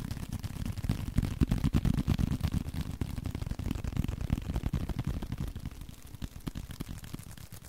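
A small, flat blue leather card holder is held up while fingertips tap and scratch it. Soft, dense, low thumps and rubbing fill the clip, with many quick taps sounding muffled and deep. They fade slightly toward the end.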